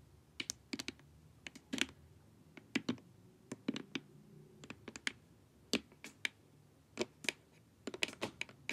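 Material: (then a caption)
Plastic. Long nails tap and scratch along the sides of a glossy, hollow plastic LED face mask. The result is an irregular run of sharp, bright clicks that die away almost instantly, with faint scratchy rustles between them over a quiet background.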